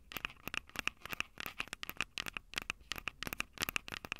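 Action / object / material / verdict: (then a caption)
tap / handheld audio recorder with metal microphone capsules / metal / none. Long purple nails tap and scratch the two metal mic capsule heads of a small Tascam DR-05 handheld recorder with a plastic body. About 26 quick, dry, bright clicks come through, each with a short metallic ping near 2.6 kHz, over a soft scratching texture and almost no low end.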